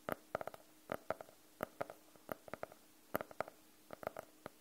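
Fingernails tap and scratch on the cover of a closed, solid navy faux-leather hardcover notebook. Around twenty quiet, dry, clicky taps come in irregular clusters, with a mid-pitched knock near 600 Hz and a faint bright edge. Each tap dies away almost instantly over a low background hiss.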